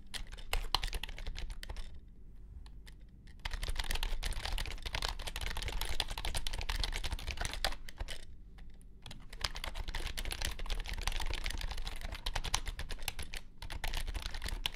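Fingertips of both hands type quickly on a compact white plastic wireless keyboard with low-profile keys resting on a grey mat. The result is a dense run of short, bright clicks, with brief pauses at about 2 and 8 seconds before the typing resumes.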